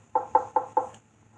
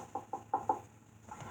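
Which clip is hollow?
The second.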